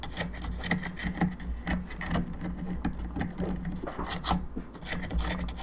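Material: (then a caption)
Plastic. Long fingernails scratch and tap the top of a hollow, molded, painted plastic skull candelabra lamp and its bone arms; the lamp has three candle sockets and is lit from inside. Quick dry raspy scrapes and light clicky taps repeat throughout, with bright edges over a steady low hum.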